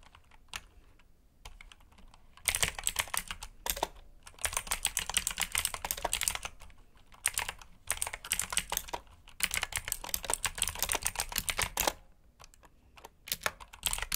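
Fingertips type continuously on a black clicky mechanical keyboard with plastic keycaps, giving rapid bright clacks in bursts separated by short pauses. The key hits are crisp and dry, with little low-end weight.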